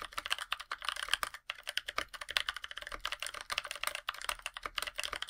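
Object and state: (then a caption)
Mechanical keyboard with plastic keycaps, typing. Two hands type continuously with their fingertips on a NovelKeys NK65 Aluminum 65% mechanical keyboard with a black aluminum case, white PBT plastic keycaps and NovelKeys Blueberries switches. About 37 quick, dry keystrokes sound in a steady, uneven rhythm, each a bright clack centered near 3 kHz that dies away almost instantly, with almost no low end.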